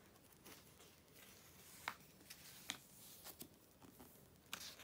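A hand flips the pages of an open glossy paper Vogue magazine, the July 2013 issue, and rubs its palm and fingertips across the paper. Soft, bright, papery rustling and brushing run throughout, broken by several short, crisp snaps as pages turn. The sound is quiet and dry, with almost no low end.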